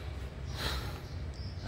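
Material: Nothing is struck.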